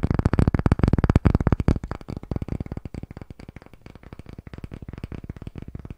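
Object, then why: Pine wooden disc. Fingertips and short nails tap and scratch fast across the face and edge of a palm-sized, solid, unfinished light pine disc with visible grain, held in both hands near the microphone. A rapid, uneven flurry of dull, low, woody knocks with almost no ring is loudest for the first couple of seconds, then continues as softer, lighter taps and scratches to the end.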